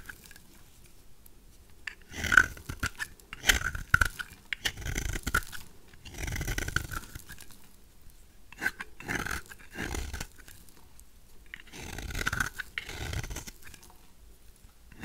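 A knife blade scrapes crumbly shavings off a brown, solid, rectangular bar of dry vintage soap held in the hand. The clip is a series of short, dry, crunchy scraping bursts with brief gritty crackles, separated by quiet pauses.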